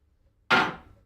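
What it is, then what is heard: Heavy solid silver cuff bracelet. A heavy solid silver cuff bracelet, a shop-made demo piece, is dropped once onto a counter to show how hefty it is. It lands with a single sharp clunk that has a metallic ring near 1.4 kHz and bright overtones, then fades over about half a second.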